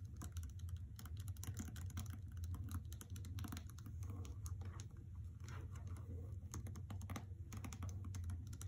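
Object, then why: Paper-jacketed hardcover book. Long painted fingernails and fingertips tap and scratch a solid hardcover novel, "The Trespasser," in a white paper dust jacket lying flat on carpet. The result is a dense, continuous patter of quick, dry clicks and papery scratches with short decay over a steady low rumble.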